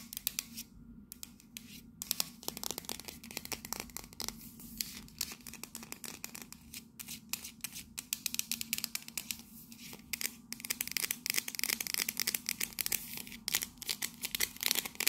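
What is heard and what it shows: Long nails scratch and tap quickly along the red patterned side of a tall, hollow, cylindrical printed metal coffee canister. The result is a dense stream of short, bright clicks and scrapes with almost no ring, over a faint low hum.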